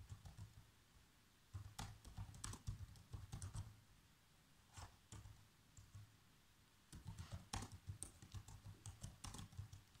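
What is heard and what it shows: Bare fingertips with short nails type continuously on a black plastic laptop keyboard. Quick, soft clicky taps come in bursts, each with a low thud and a bright click. The typing eases into lighter, sparser taps in the middle before picking back up.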